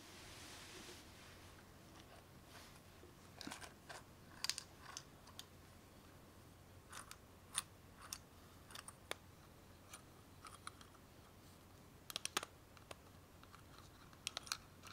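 A small round aluminum tin with a clear window lid, full of colored glass beads, is held in both hands while fingernails tap on it and it is handled and shaken. Quiet, sharp, bright clicks and ticks come in scattered bursts over a soft hiss, with a brief rattly wash at the start and a faint steady low hum underneath.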